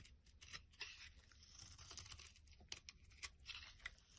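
A knife blade scrapes and cuts flakes from a pale green solid bar of soap held in the palm. The sound is a dry, bright, crisp scraping with quick crunchy snaps and flicks scattered throughout, over a faint low rumble.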